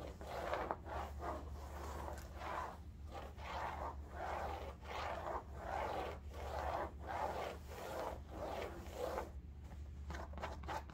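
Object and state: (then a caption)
Fabric bolster pillow scratched. Long nails scratch across the surface of a striped woven fabric bolster pillow lying horizontally. The sound is a quick, loosely rhythmic series of soft, papery rasping strokes, centered in the midrange with little bright top end. A steady low hum runs underneath throughout.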